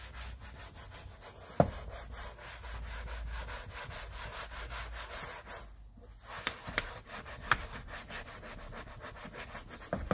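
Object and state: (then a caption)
Leather car seat being scrubbed. A gloved hand scrubs a padded, foam-covered black leather rear seat cushion in a Honda with a wood-backed bristle brush. It makes a steady, rhythmic rubbing scrub with a low, dull body, broken by a brief pause near the middle. Several sharp knocks of the brush stand out above the scrubbing.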